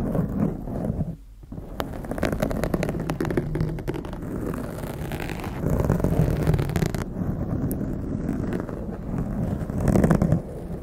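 A blue foam windscreen on a condenser microphone is scratched with long acrylic nails while fingertips grip and rub the foam. The result is a dense, low, muffled rustling and scraping with fast, irregular scratches. A brief quiet dip comes near the one-second mark.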